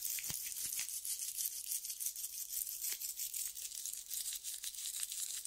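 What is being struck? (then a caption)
Sandpaper strip. Fingertips rub and scratch the gritty surface of a tan sandpaper strip held between both hands. The result is a quiet, continuous, bright hissing rasp made of quick, irregular strokes, with almost no low end.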